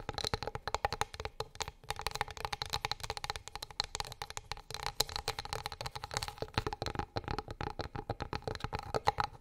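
Long acrylic nails tap rapidly on a flat, light, solid wooden board or plate. The result is a steady stream of dozens of quick, dry, clicky taps with a bright, high edge and almost no ring, varying slightly in loudness throughout.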